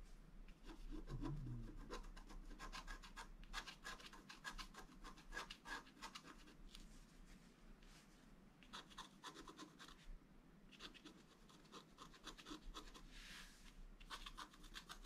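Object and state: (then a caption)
Scratch art card being scratched. A wooden stylus scratches lines across the upper area of a flat scratch art paper card held in one hand. The result is a steady run of quick, dry rasping strokes with bright, crisp edges over a low background hum. The strokes come in uneven bursts and pause briefly now and then.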